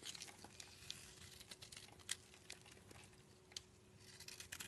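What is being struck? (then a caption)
Bar of soap. A utility knife blade shaves thin curls off a solid black rectangular soap bar with an embossed logo, held in the palm. Quiet, bright, crisp scraping and crackling comes in a run of short ticks and scratches, with a few sharper snaps standing out. A faint steady low hum sits underneath throughout.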